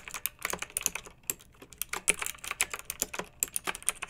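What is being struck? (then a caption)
Plastic mechanical keyboard keys. Long-nailed fingertips type on a pink plastic mechanical keyboard with round retro plastic keycaps and blue backlight, resting on a fluffy rug. Quick, bright, clacky key clicks come in uneven bursts with brief pauses, each tap crisp and short with almost no low-end thump.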